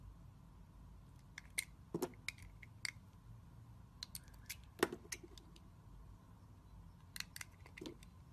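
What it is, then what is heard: Glycerin soap bar being scraped with a blade. A metal utility-knife blade scrapes and scores the surface of a solid, rectangular, hand-sized translucent glycerin bar soap with green and red swirls, held in the hand. Short, sharp, bright scratching clicks come in scattered bursts over a quiet low hum, with the audio processed as 8D.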